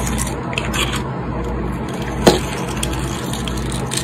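A metal utility blade scrapes the multicolor glitter coating off a solid, rectangular white soap bar held in hand, peeling the glitter layer away in strips. A steady, gritty scraping crunch with bright, hissy edges runs throughout. A single sharper click stands out about midway.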